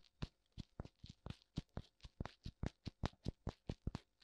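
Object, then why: Silicone ear of a binaural microphone. Fingertips tap both white silicone ears of a black binaural microphone, giving about twenty short, dull, low thumps in an uneven rhythm over four seconds. Each tap is deep and muffled, with a faint bright edge, and dies away almost instantly.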